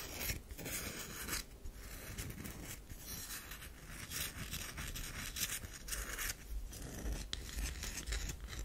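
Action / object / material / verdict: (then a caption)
scrape / bar of soap / soap / none. Long nails scratch a round, solid bar of soap with a powdery scraped surface, held in the hand. The result is a steady run of bright, dry rasping strokes at an uneven pace, each scrape dying away quickly over a faint low rumble.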